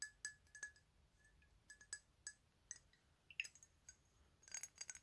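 Fingernails tap and scratch the faces and edges of a rectangular, thick clear glass 100 ml perfume bottle with a black cap and a paper label, hollow with liquid inside, held in both hands. Quiet, bright glassy clicks and clinks sound at scattered intervals, each dying away almost at once with a faint ringing tone around 2.7 kHz. A quick flurry of taps comes near the end.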